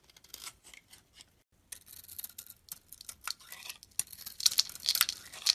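A utility-knife blade scrapes the pink pearly coating off a hand-held oval soap bar with a beige core. The result is a run of crisp, dry, bright scraping strokes in short irregular bursts, with a brief pause early on. The strokes grow louder and denser toward the end.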